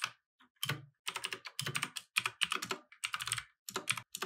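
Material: Plastic.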